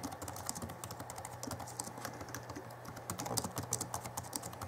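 Both hands type rapidly with their fingertips on the backlit chiclet keyboard of a 2011 Alienware M11x2 laptop, its plastic keys set over a solid laptop base. A quick, dense stream of short, dry plastic clicks and taps with bright edges rolls on continuously over a faint low steady hum.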